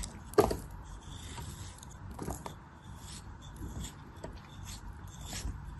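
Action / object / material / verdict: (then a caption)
scrape / kinetic sand ball / kinetic sand / none. A craft blade cuts and scrapes through a hand-sized, solid, dense ball of pink kinetic sand scored into a grid and held in one hand, and the pieces crumble off. A sharp crunchy cut opens the clip, followed by quieter, gritty scraping and soft crumbling bursts with faint high hiss throughout.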